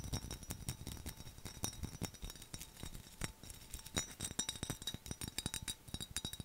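Fingernails tap and scratch rapidly over the raised skull relief and the lid area of a hollow, mid-sized black textured glass skull mug with a handle and lid. The result is a fast, irregular run of dry, bright clicks with brief, faint high glassy rings that die away almost at once, over soft low knocks and scratchy rustle.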